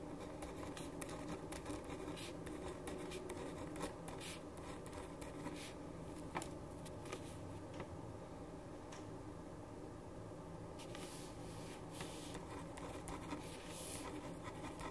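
A black ballpoint pen writes on a white paper sheet resting on a wooden desk, scratching the paper. Soft, continuous scratchy strokes with brief brighter flicks sit over a faint steady low hum throughout.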